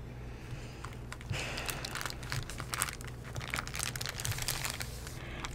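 A thin, soft sheet of white tissue paper spread over the pages of an open Bible is pressed, rubbed and crumpled against the pages by hands with green-painted nails. Bright, papery crinkling and rustling builds into a busier stretch of crackles over a faint low hum, ending with a sharp louder crinkle.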